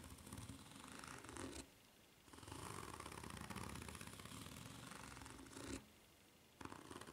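Long nails scratch fast across the ridges of a white rubber flip-flop sole held bottom-up, making a dense, raspy scraping. The scratching comes in three bursts separated by short quiet pauses.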